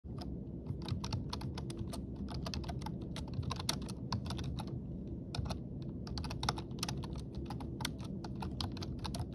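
Both hands type rapidly with their fingertips on a black, full-size plastic computer keyboard with a hollow body, resting on a stone countertop. Quick, bright clicks from the plastic keys patter continuously over a steady low hum throughout.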